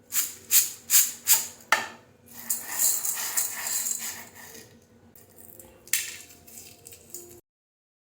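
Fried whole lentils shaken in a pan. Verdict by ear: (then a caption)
Crisp. Deep-fried whole masoor lentils, fully cooled, are shaken or stirred in a pan, giving five quick, bright rattling bursts followed by a longer, softer dry rustle and a final sharp rattle before silence. The crisp, high-pitched clatter shows the lentils are crunchy.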